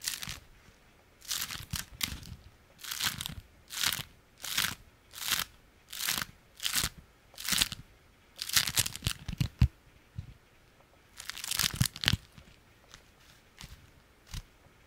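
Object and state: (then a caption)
Beeswax-coated fabric food wrap. A small folded stack of orange-striped beeswax-coated fabric food wrap, held in one hand, is scratched and crinkled with the fingernails. It gives repeated short bursts of bright, crackly crunching with brief quiet gaps between them.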